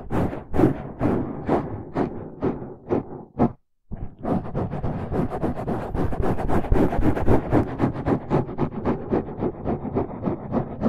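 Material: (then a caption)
Foam. Fingertips and nails of both hands scratch the sides of a dark, rounded foam windscreen over a microphone. Close, muffled, low-heavy scratching bursts come in a loose rhythm, stop briefly for a near-silent gap just before the 4-second mark, then return as denser, steadier scratching to the end.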